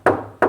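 Two knocks on a new U.S. General steel rolling tool cabinet give a solid, dull thud with a midrange tone and a short decay and no rattle. The cabinet sounds sturdy, like knocking on wood or a workbench.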